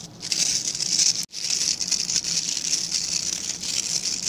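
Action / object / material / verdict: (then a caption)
scrape / synthetic-bristle scrub brush with plastic back / plastic / none. Fingertips rub and scratch along the dense, dark synthetic bristles of a hand-sized plastic-backed scrub brush. This produces a steady, bright, crackling scratch with almost nothing in the low end. The scratching stops for a brief moment near the start of the second second, then resumes.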